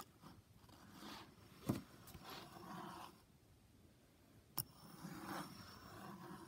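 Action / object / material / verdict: scrape / pencil lead of a metal compass on paper / paper / none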